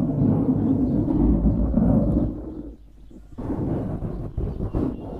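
Fingertips scratch and squeeze a black foam windscreen on a microphone, producing a dense, low rumbling rustle that sounds much like distant thunder. The noise stays loud and heavy for about two seconds, then fades to near quiet around the three-second mark. It resumes with rougher, uneven scratching to the end.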